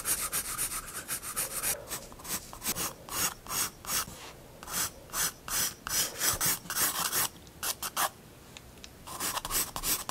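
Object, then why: Graphite pencil on paper sketchbook page. A pencil draws vertical lines on a paper sketchbook page, rubbing and scratching in quick back-and-forth strokes. Dense, rapid scratching at the start gives way to separate bright, raspy bursts with short quiet gaps between them. The strokes are mostly high and hissy, with very little low end.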